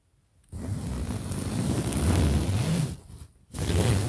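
A large, soft pillow with a printed polyester cover is held close to the microphone while fingers and nails scratch and rub across the fabric. After a brief silence, a dense, muffled rubbing and scratching starts, heavy in low rumble with a faint bright hiss. It fades, pauses briefly, then resumes in a second burst.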